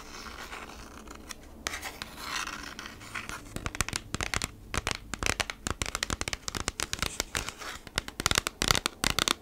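Long nails scratch and rub along the printed surface of a kraft cardboard packaging sleeve held horizontally. Soft, hissy rubbing at first gives way to a dense run of sharp, bright, dry scratches that grow louder and quicker toward the end.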